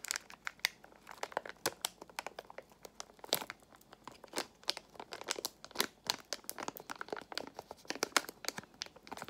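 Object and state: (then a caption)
Foil-lined plastic pouch crinkled. A small foil-lined plastic Extra gum pouch is squeezed and crinkled with fingertips and long nails. The result is a dense run of quick, bright crackles and crinkles, with almost no low end. Each snap dies away at once.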